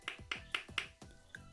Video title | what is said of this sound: POR QUE TODO MUNDO ESTÁ ME PEDINDO A RECEITA DESSE BOMBOM SALGADO? VEJA VOCÊ MESMO NESSA AULA! | eles estão congelados, eles ficam assim, olha, com esse som de pedra